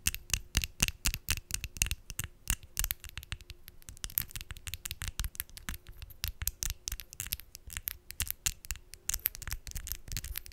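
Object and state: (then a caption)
Acrylic false nails tapped together. Long decorated acrylic false nails, small, hard and thin, are tapped nail on nail with the fingertips held in front of a microphone. The result is a rapid, irregular stream of sharp, dry clicks, bright at the top with a soft low thump beneath, each dying away almost instantly over a faint steady hum.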